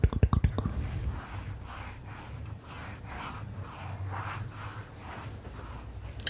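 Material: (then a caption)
Paper. Long manicured nails and fingertips rub and scratch across the page of a thin printed paper word-search puzzle booklet lying flat on black leather. A quick burst of sharp taps opens the clip, followed by soft, steady back-and-forth scratching strokes with a low underlying rumble.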